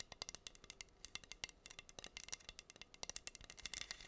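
Long green nails scratch across pink acrylic rhinestones covering a flat, solid wooden heart board. The result is a quick run of sharp, bright ticks and clicks with almost no low end, each dying away instantly.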